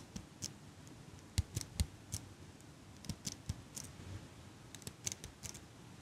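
A small chrome metal eyelash curler is held near the mic by long pink nails, its handles squeezed so the hinged frame clicks. An irregular series of short, dry metallic clicks follows, each a bright tick with a soft low thump underneath, dying away almost instantly over a quiet hiss.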